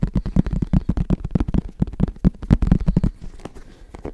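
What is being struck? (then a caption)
Fabric-covered semi-rigid headphone case. Fingertips tap rapidly on the fabric-covered surface of a medium-sized, hollow, black semi-rigid hard-shell headphone case held in both hands. The result is a dense run of short, dull, low thumps with a hollow body and almost no high end, each dying away almost instantly. The taps grow softer and sparser near the end.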